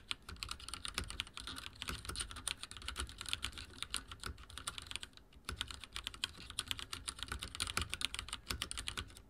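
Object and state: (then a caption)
Plastic mechanical keyboard. Fingertips of both hands rapidly type on a full-size backlit mechanical keyboard with dark plastic keycaps and linear switches, resting on a wooden desk. A dense run of short, bright plastic clicks and clacks, with a soft low thud under each press, pauses briefly just past the midpoint and then resumes at the same quick pace.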